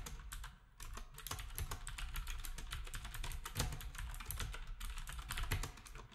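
Fingertips of both hands type steadily on a black retro typewriter-style keyboard with round plastic keycaps. A dense, fast run of short clacks carries a bright click on each key with a low thud beneath, and every stroke dies away almost at once, with a brief lull near the start.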